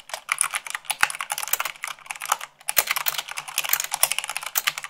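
Long acrylic-nailed fingertips type fast, at about 98 words per minute, on a full-size mechanical keyboard with white plastic keycaps on a black base. The result is a rapid, continuous clatter of bright, sharp plastic clicks and taps that stop almost instantly, with a few louder keystrokes standing out and almost no low end.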